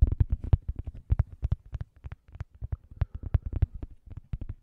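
Fingernails rapidly scratch and tap a thin, solid, round cork coaster held edge-on beside the microphone. The result is a quick, uneven run of dull, muffled thumps and scratches, almost entirely low and deep, each dying away almost instantly.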